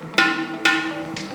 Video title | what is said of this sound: THE RYANS : Review Pot Terakota Berkualitas Tinggi Karya Lokal & Cara Mengetahui Pot Yang Bagus | ini menandakan bahwa potera kotanya tidak ada retak dan ketebalannya serta finishing-nya baik